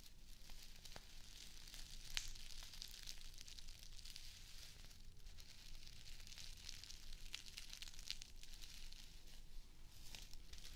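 Long acrylic nails scratch and ruffle the plastic blades of a small square of artificial grass turf held close to the mic. The result is a steady, soft, bright crinkling rustle with sharp little scratchy ticks scattered throughout, over a low, quiet rumble.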